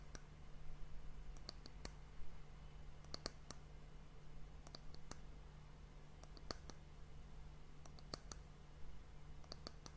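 Long nails and fingertips tap across the rounded outer surface of a small, hollow, dark polished wooden bowl that looks empty, held close to the microphone. Sharp, bright clicks come in irregular clusters over a steady low hum that dominates the quiet level. Each tap dies away almost instantly.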